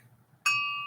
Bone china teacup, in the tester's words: see that sounds better